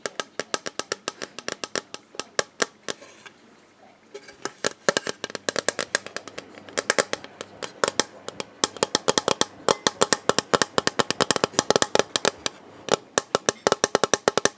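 A hollow, rigid, clear plastic storage box with a printed robin is held in both hands and tapped with the fingertips on its flat face. Quick, dry, bright taps come in rapid runs, pause briefly around three to four seconds, then resume in dense bursts.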